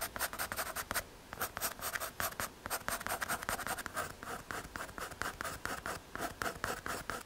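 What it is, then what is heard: Pencil strokes on an MDF drawing board. A graphite pencil scratches and shades across a small, flat, solid brown MDF/hardboard drawing board. Quick, repeated dry, scratchy strokes come in bursts, with a short pause near one second. Each stroke has a bright, papery rasp that stops dead with no ring.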